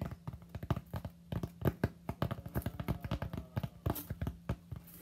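Fingertips tap quickly on the flat front surface of a solid white expanded polystyrene (styrofoam) slab held in both hands. The result is a rapid, uneven run of short, dull, low taps that die away almost instantly, with a faint steady low tone underneath.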